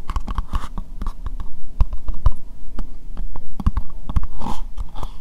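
Long nails tap and scratch an empty, hollow, translucent pink plastic bowl, making a rapid, irregular run of sharp, dry clicks with short scraping strokes in between. Each tap dies almost instantly, with a low, hollow thump under the brighter click.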